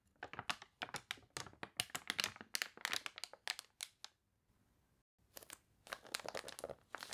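Long nails turn and rub the wavy pages of a water-warped paper toy catalog, making quick, bright crinkling and crunching bursts. The rustling breaks off into near silence for about a second midway, then resumes with more dense crackles.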